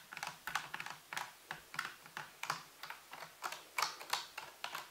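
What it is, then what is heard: Plastic computer keyboard being typed on. Both hands type and tap with fingertips and nails on the keys of a full-size black plastic computer keyboard with a white base and hollow housing, resting on a table. About 17 short, irregular clicks are heard in quick, uneven bursts. Each is a bright, hollow plastic clack that dies away almost at once.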